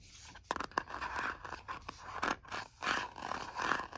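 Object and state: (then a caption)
Plastic cosmetic jar. A stylus scratches the lid of a white plastic cosmetic jar, apparently full, and then fingernails scratch across the lid and the side of the jar. The result is a run of quiet, dry scraping strokes in the midrange around 1 kHz, with a few sharper ticks and brief pauses between the strokes.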